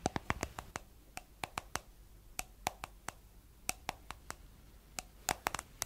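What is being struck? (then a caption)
Small plastic cosmetic jar. Long nails tap the white plastic lid and blue body of a round, palm-sized, hollow plastic cosmetic jar in 23 quick, irregular taps. Each tap is a sharp, dry click with a bright edge and a hollow mid-pitched knock near 800 Hz. The taps die away instantly over a quiet background.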